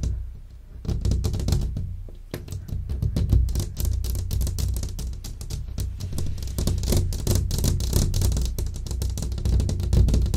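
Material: Glass.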